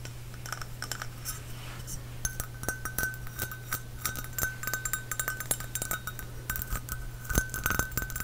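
A small glazed ceramic Epcot Spaceship Earth trinket dish with a hollow, white textured sphere is held close to the microphone and tapped quickly with fingernails on the sphere and rim. The result is rapid, light clicking taps with bright, short clinks that fade almost instantly, over a steady low hum.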